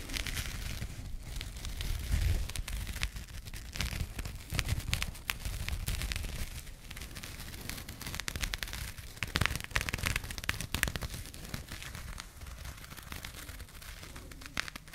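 A small burlap jute fabric pouch is held in both hands close to the microphones and scratched and rubbed with long nails. The result is a dense, crackling texture of sharp, bright scratches and rustles over a low, rumbling handling noise, with brief louder bursts throughout.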